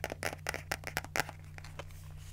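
Long nails scratch the cover of a small pink spiral notebook and flip its paper pages, making a quick series of dry, crisp scratches and papery crinkles. The bursts are bright and short and fade out over the last second. A steady low hum sits underneath throughout.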